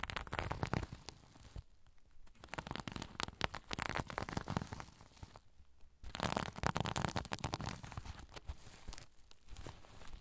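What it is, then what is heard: Sequin pouch scratched. Fingers scratch and rub the sequins of a soft sequin-covered zipper pouch held over the recorder. The result is dense, crackly, crinkling rustle with a low rumbling body, broken by brief quieter pauses near 2, 6 and 9 seconds before the scratching resumes.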